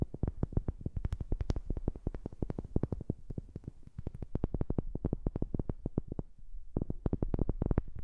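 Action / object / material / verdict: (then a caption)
tap / wooden object / wood / none. A wooden object is tapped in a rapid, steady stream of short, dull knocks, recorded close on a new microphone. Each tap is mostly deep low thump with a very brief ring and little brightness, and there is a short pause near the six-second mark before the tapping resumes.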